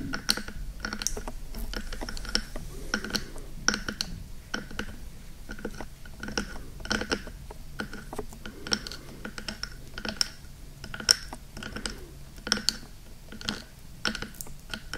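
Hands cup and grip the two black silicone ear pieces of a 3Dio-style binaural microphone while long nails and fingertips tap and scratch the hollow, rubbery ear tops. The result is a steady run of sharp, dry clicks with bright, high ticks, soft scratchy brushing between them, and a low muffled rumble underneath.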